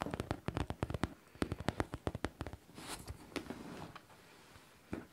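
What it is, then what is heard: Faux leather backpack tapped and scratched. Long nails tap rapidly on a hollow pink faux leather backpack with a studded front pocket and zipper, making dull, low, soft thuds that stop quickly. The taps give way to a softer, brushy scratching across the leather and near the studs, then one last tap.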